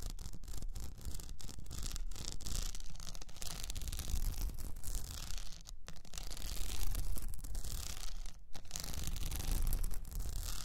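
Long nails on both hands scratch an upright cylinder wrapped in blue rhinestone mesh. The result is a steady, dense, gritty rasping that is heaviest in the low end, with brief pauses near six and eight and a half seconds.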